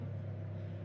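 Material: Nothing is struck.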